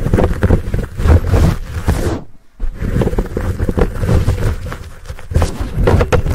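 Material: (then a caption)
Foam. Fingertips scratch and rub the sides of a fuzzy black foam windscreen on a Blue Yeti microphone. The result is a dense, muffled, low rumbling scrape with soft crackles and almost no high end, broken by a brief silent gap a little past two seconds before the rubbing resumes.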